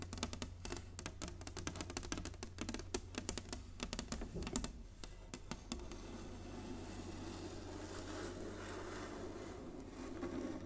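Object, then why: Inlaid wooden chessboard. Long nails tap quickly across the squares of a large, flat, inlaid wooden chessboard, making rapid, crisp clicks over a steady low hum. Around six seconds the tapping gives way to a softer, continuous scratchy rustle that swells slightly toward the end.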